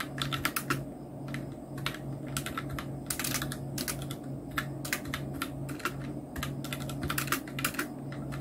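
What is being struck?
Plastic mechanical keyboard keys.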